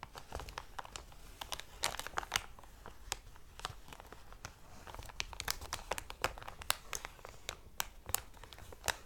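Fingertips and palms with short dark nails crumple and crinkle a thick, medium-sized, thin-walled clear plastic cellophane packaging bag with a squishy toy inside. Quick, dense crackles and sharp bright snaps come and go over a soft rustling bed, with short pauses between bursts.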